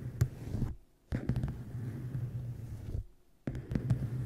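Fingertips and long nails tap the sides and top edge of a solid, closed, dark-covered hardcover book resting on a microphone. The result is a run of dull, boomy, close-up taps sitting almost entirely in the low range over a steady low rumble, with no bright edge. The tapping breaks off in two brief near-silent pauses before resuming.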